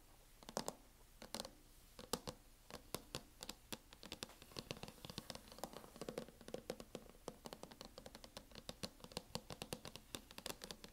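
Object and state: Plastic hard-shell laptop case.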